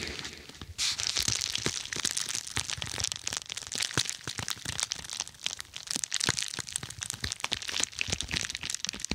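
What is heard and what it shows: Long nails scratch and press a dark, glossy plastic padded bubble mailer laid over a microphone. The result is a steady, bright crinkling and crackling texture dotted with sharp, dry clicks, after a brief quieter start.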